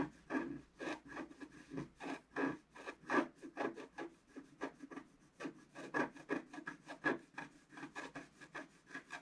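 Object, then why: Coated scratch art paper scraped with a wooden stylus. A wooden stylus scratches quick strokes into the coating of a flat, thin, black-coated scratch art sheet. About two dozen short, dry, rasping scrapes come in a steady rhythm, each with a low-mid body and a brighter papery hiss. Each scrape stops almost at once, with quiet gaps between them.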